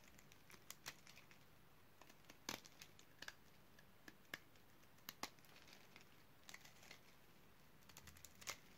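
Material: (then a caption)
Soap. A utility knife blade cuts into the surface of a solid, light pink oval bar of dry soap scored in a grid. Sharp, dry, crisp clicks and crunches are heard, scattered unevenly and standing apart from a quiet, low background hum. Each cut is brief and bright with almost no ring.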